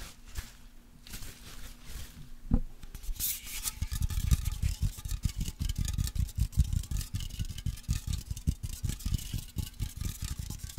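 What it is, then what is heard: Aluminium aerosol can with contents. A white aluminium deodorant aerosol can, pressurised with its contents, is shaken and then rubbed and tapped with fingertips and nails. Soft, dull, low thuds come at first, then a dense run of quick, close taps and scratchy brushing from about four seconds on, with faint bright hiss above.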